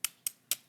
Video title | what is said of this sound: Mary’s Scottish Style Fish & Chips Recipe - The Good Stuff with Mary Berg | oh you hear how crispy that is